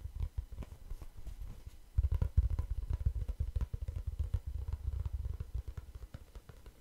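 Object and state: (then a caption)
Kraft cardboard notebook. A small, light, hollow kraft-paper or cardboard notebook tied with string is held close to the microphone and scratched and tapped with fingertips and nails. Fast, irregular taps and scratchy rubs make dull, low, boomy thuds with very short decay. The tapping grows louder and denser after about two seconds, then eases off toward the end.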